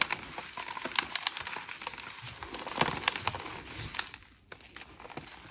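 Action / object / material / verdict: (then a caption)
scrape / reformed gym chalk block / chalk / none. Yellow-gloved hands press into a large, solid, lilac-tinted reformed gym chalk block with glitter in a round metal dish, crushing it with the fingertips and palms. The result is dense, bright crackling and crunching as it crumbles into powder and chunks, briefly fading near the end before softer crumbling resumes.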